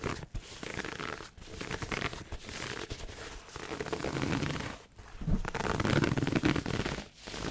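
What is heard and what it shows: Fingertips and nails scratch and rub the pleated fabric of a hollow red satin heart gift box close to the mic. The result is a dense, crinkly scratching with a low, muffled body, broken by a few brief pauses and growing louder in the second half.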